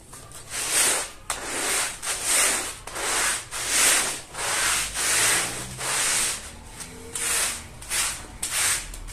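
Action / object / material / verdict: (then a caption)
scrape / woven fabric rug scrubbed with a plastic-bristle brush / fabric / none. A long-handled plastic-bristle brush scrubs a small floral woven rug, wet with foam and dirty with mud, on a tile floor. Steady back-and-forth strokes make bright, wet, rasping hisses that swell and fade in a loose rhythm.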